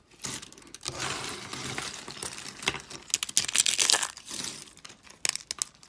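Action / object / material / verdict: scrape / soap shavings and curls / soap / none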